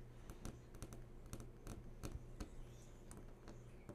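Long nails tap rapidly on the glossy surface of a large flat-screen TV that is switched on. The result is a quick run of soft, sharp clicks over a steady low hum.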